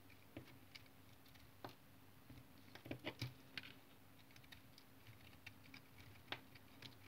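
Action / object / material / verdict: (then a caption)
scrape / bar of tar soap cut by a knife blade / soap / none. A utility knife blade shaves curls off a solid brown tar soap bar held in the hand, its face already scraped. Quiet, irregular crisp scrapes and soft ticking cuts sound, some with bright edges, over a faint steady low hum.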